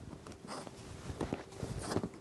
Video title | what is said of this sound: Fixing My Plant Problems 🌱 Full Day of Pest Treatment, Rearranging + More | shake test. You hear nothing.